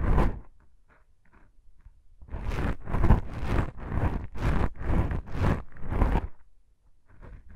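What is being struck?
Foam microphone windscreen.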